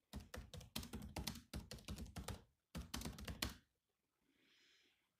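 Fingertips type on the black plastic keys of a grey laptop keyboard, making a quick run of short, dry clicks with a low thump under each press. The typing comes in two bursts separated by a brief pause, then stops. A faint, soft high hiss follows near the end.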